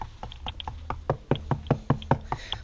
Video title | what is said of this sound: Full Remodeled 40 year old Boat Tour | hear the echo that's hollow